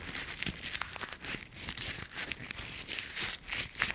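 Dry brown autumn leaf pieces are squeezed and crumpled in one hand with fingers and palm close to a microphone. The result is a dense, bright, crisp crackling and crunching that runs without pause, with many short snaps and little low end.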